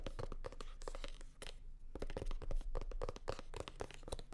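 Long nails rapidly tap and scratch a hollow, navy blue hard-shell sunglasses case covered in faux leather. Dense, irregular clusters of short, dry clicks and scratchy crackles run throughout, with a full low body, a brief quieter gap near the middle, and very little ring after each hit.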